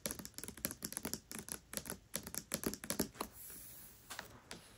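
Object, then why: Hardcover book with paper dust jacket. Long nails tap and scratch the paper dust jacket of the hardcover book *Tress of the Emerald Sea* lying flat. About two dozen quick, bright, clicky taps come in uneven bursts, like typing. A soft, steady scratch follows, then a few final taps.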